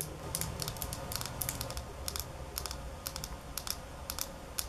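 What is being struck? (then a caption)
Small glass bottle tapped with fingernails. Long nails rapidly tap a small square glass nail polish bottle filled with holographic polish, held in both hands. Sharp, bright clicks come in quick clustered bursts over a steady low rumble, each tap dying away almost instantly.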